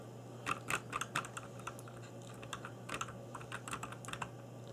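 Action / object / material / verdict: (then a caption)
tap / mechanical keyboard with plastic keycaps and case / plastic / none. Fingertips in black nitrile gloves type rapid key taps on a cheap RGB-backlit mechanical keyboard with plastic keycaps on a hollow plastic case. About twenty short, dry, clacky clicks land in uneven bursts, each centered around 1.4 kHz with a bright top. A steady low hum runs underneath throughout.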